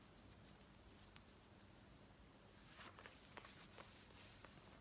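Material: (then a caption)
Denim. Long nails scratch fast across the back and front waistband of worn black denim jeans, making a quiet, steady, bright rasping hiss over a faint low hum. Halfway through, the scratching grows louder and brighter, with a few sharp ticks standing out.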